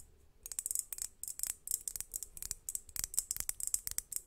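A large hollow crackle glass globe lamp, a crackled-glass sphere with fairy lights inside, rests in front of the mic and is tapped and scratched with long nails. It gives a quiet, dense run of quick, bright clicks and scratchy ticks with almost no low end, each dying away almost instantly. The tapping starts about half a second in and continues to the end.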